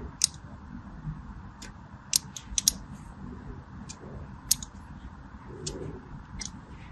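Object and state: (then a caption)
Bar soap being scored with a blade. A thin craft blade scores parallel lines into the surface of a solid, palm-sized orange bar of soap held in one hand with long pink nails. Short, sharp, bright scratching clicks come in an irregular series over a faint low background rumble, each cutting off almost instantly.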